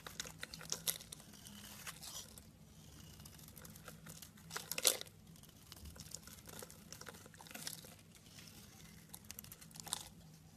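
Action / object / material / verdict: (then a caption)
scrape / bar of soap scraped with a blade / soap / none. A hand-sized solid blue soap bar with white stripes is scraped and crumbled into flakes with a pink-handled utility blade. Soft, dry crinkling and crunching scrapes fill the clip with bright high-frequency texture, and a few sharper crackles stand out, especially near the middle.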